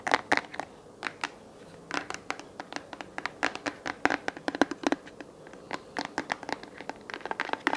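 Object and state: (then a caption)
Plastic desk lamp base. Fingernails scratch and tap quickly on a hollow white plastic desk lamp base held in the hands, then the base is turned over to show its underside. The result is a quiet, uneven series of short, dry clicks and scrapes with a slightly hollow tone and no ring after each hit.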